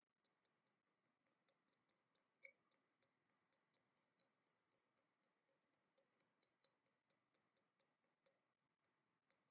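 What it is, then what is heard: Porcelain teapot tapped with fingernails. A small, hollow, painted porcelain teapot with a dragon motif, held in the hands, is tapped rapidly from below with long nails. The result is a quick, slightly uneven series of light, bright clicks with a high, glassy ring that fades almost at once. There are a few short pauses near the end.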